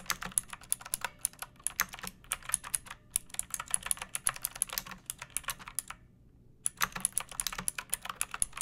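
Fingertips with long painted nails type on a pink plastic mechanical keyboard with round keycaps and a hollow case, resting on a wooden surface. A steady stream of sharp, bright clacks is heard, with a brief pause near the six-second mark before the typing resumes.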